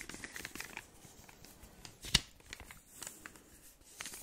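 A large, flat, solid, unopened chocolate bar wrapped in crinkly gold foil is held in both hands near the mic and tapped and scratched with fingertips and short nails. Quiet, bright foil crinkles and light scratches continue throughout, with one sharp, louder tap near the middle.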